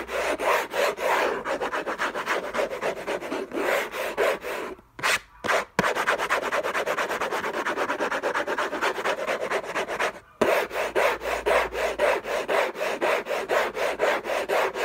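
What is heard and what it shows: Fingertips and nails scratch the lid of a hollow orange Hermès rigid cardboard box covered in textured paper. They make fast, rasping strokes, about two per second, with a mid-range papery hiss and some high brightness. The scratching breaks off in brief pauses around five seconds and again near ten seconds before resuming just as hard.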